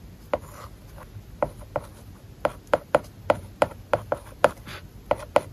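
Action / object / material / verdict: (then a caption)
scrape / plastic stylus on matte plastic film over tablet glass / plastic film / none. A plastic stylus writes on an iPad whose glass is covered with a matte plastic paper-like film. Thirteen short, dry tapping strokes with a scratchy edge sound in a quiet, irregular rhythm, each one mid-pitched and dying away almost at once.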